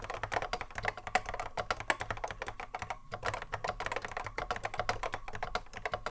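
Fingertips of both hands touch-type continuously on a cream Apple M0110A keyboard with a hollow plastic case and Alps SKCC mechanical switches, sitting on a wooden desk. A rapid, steady stream of short, sharp clicks centers around 1.7 kHz, with a faint low thud under each keystroke and a brief pause near the middle.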